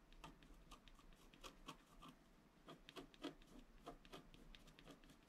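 A wooden stylus scratches a flat black-coated scratch-art card lying on a table in many short, quick strokes. Each stroke is a brief dry, raspy scrape that spreads bright across the range, coming at an uneven pace over a quiet, steady low background.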